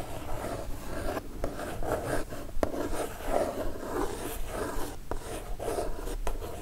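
Long nails tap on a kraft cardboard mailer box, then a single nail scratches across its surface. The result is a dry, papery rasping with brief sharp taps and a midrange tone, with no ringing.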